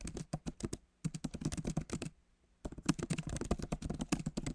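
Fingertips of both hands type on a backlit MacBook Pro keyboard with solid plastic keys set in an aluminum body. Quick, soft, dull key taps run in bursts, with a short pause near one second and a longer lull before the typing resumes.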